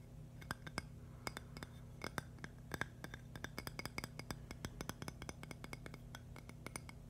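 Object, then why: Thin agate stone slice. A thin, solid purple agate slice is tapped and scratched with long nails. Quick, sharp glassy clicks and clinks with bright edges die away almost instantly over a steady low hum, with faint scratching between the taps.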